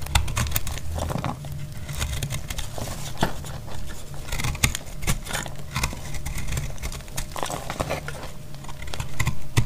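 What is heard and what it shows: A metal blade cuts into a solid, dry, blue-white speckled bar of soap held in the hand. The sound is a steady run of dry, crumbly crackles and short scrapes over a low, dull rumble, with a few sharper snaps as pieces break away.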